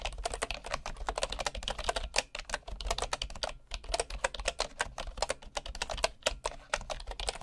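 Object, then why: Bamboo wooden computer keyboard. Fingertips of one hand type rapidly on a bamboo wood computer keyboard with wooden keycaps. Quick, dry, bright clicks follow one another with only brief pauses, each tap dying away almost at once over a faint low hum.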